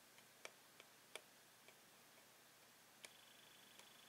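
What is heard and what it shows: Repeated taps with a metal pen tip along a hollow clear plastic blister holding a toy pen on yellow cardboard backing. Five short, bright, irregular ticks stand out, each dying away almost instantly over a faint hiss.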